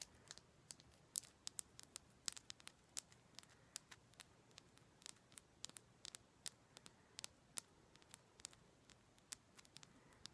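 A solid, fist-sized raw chunk of pink rose quartz is held in both hands and tapped and scratched with long black acrylic nails. About 39 quiet, sharp, bright clicks with almost no ring come at an irregular pace over a faint hiss, with light scratching between them.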